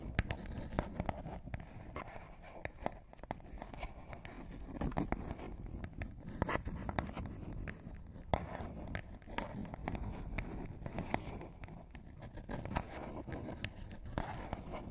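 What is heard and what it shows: A small, flat, printed paperboard product box, hollow and likely empty, is held over microphones and scratched and tapped with short fingernails. The result is a steady, dry stream of quick scratches and soft taps, heavy in the low end with brief bright clicks, and each sound dies away almost at once.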